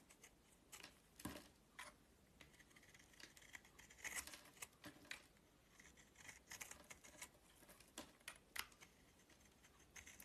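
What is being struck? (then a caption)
Bar of soap shaved with a metal blade. A solid oval bar of purple-shelled soap with a white core is held in the hand and shaved with a metal utility knife blade. Quiet, bright, crisp scraping strokes come in irregular bursts, each short and dry with almost no ring. The thin shavings rasp off the bar in a steady, soft rhythm.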